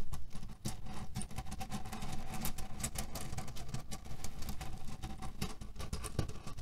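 Fingernails scratch and tap quickly on a cotton canvas pillow filled with cherry pits, making a dense, continuous rustling patter with a deep low rumble underneath and many sharp, bright clicks from the shifting pits.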